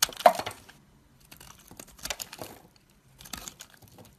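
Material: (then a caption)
Soap. A metal knife blade scrapes and cuts a solid white oval bar of soap, held in fingers with long black nails over a pile of soap shavings. A sharp, crisp crackle opens the clip, followed by two quieter stretches of dry, brittle scraping and crinkling with bright edges. The sounds are close and short, with little ring.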